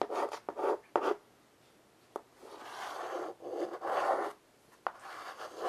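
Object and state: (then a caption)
Chalk drawing on a chalkboard. A child draws on a flat black chalkboard in a wooden frame with white chalk held in her fingertips, making many short scratching strokes. The dry, raspy midrange scrapes come in bursts separated by quiet pauses, with a few sharp ticks where the chalk meets the board.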